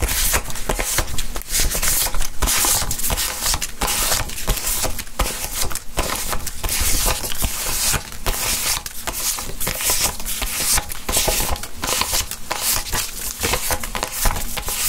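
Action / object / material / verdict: scrape / plastic polymer banknotes / polymer / none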